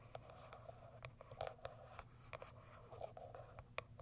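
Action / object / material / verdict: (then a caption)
scrape / small printed cardboard box / cardboard / none. Long white acrylic nails scratch and tap the sides and top of a small white Kiara Sky printed cardboard product box. The result is a quiet, dry scratching texture broken by a quick series of short, sharp clicks with a mid-pitched papery tone. A faint steady low hum sits underneath.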